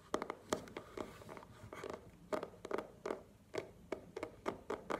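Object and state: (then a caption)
Cardboard box tapped with nails. A small, hollow black cardboard product box is held in the hands and tapped with long nails, giving nineteen quick, dry, hollow taps at an irregular rhythm. Each tap is a short click with a papery mid-range tone and almost no ring.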